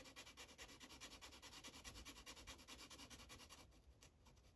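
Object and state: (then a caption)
Marker coloring on a paper page. A red Sharpie felt-tip marker rubs back and forth over a thin white coloring-book page lying flat, coloring stripes. It makes a quiet, bright, scratchy rubbing in a steady rhythm of quick strokes, which grows softer and thinner in the last second.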